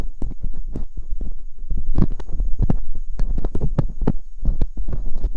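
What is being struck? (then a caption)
Silicone ear mold of a binaural microphone scraped with a metal dental pick. Metal dental picks scrape inside the canals of silicone ear molds on a binaural microphone. The result is a dense run of short, muffled scratching and thumping bursts, heavy in the low end, over a steady faint hum.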